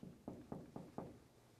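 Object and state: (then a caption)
Hollow uninsulated frame wall. Four knocks on a cold room's exterior wall, a 2x4 frame wall with no insulation, give dull, low, hollow thuds centered near 240 Hz. Each knock dies away quickly with no bright ring. The wall sounds hollow, confirming it is uninsulated.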